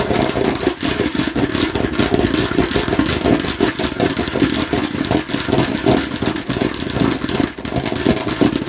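Long nails tap fast and hard on a hollow, hard plastic watermelon-slice container held in one hand. The result is a dense, continuous stream of hollow clicking and clattering taps, centered in the low-mids around 300 Hz with a bright crackle on top.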